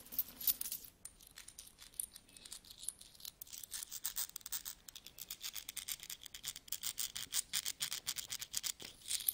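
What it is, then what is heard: Pile of metal coins being rummaged. Fingertips pick up and rub together small solid metal coins of copper, brass and nickel from a large mixed pile spread on a carpet. The result is a steady stream of quick, bright clinks and chinks that stay thin and high with almost no low end, coming in irregular bursts that grow denser and louder in the second half.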